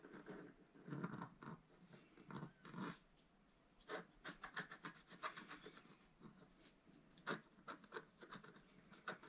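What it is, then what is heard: Scratch-art paper being scratched. A wooden stylus scratches a second stripe into the top corner of a black-coated scratch-art card lying flat on a table, held down by one hand. Dry, rasping scratch strokes come in short bursts with brief pauses, with a crisp, bright edge over a soft low body.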